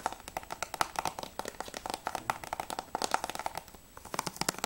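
Fingertips and nails tap quickly on the front cover of a hollow plastic PS3 game case for Battlefield Bad Company 2, which has a clear sleeve and holds a disc. It makes a rapid, uneven run of dozens of short, dry clicks with a hollow plastic tone around 870 Hz and bright edges. Each tap dies away almost at once.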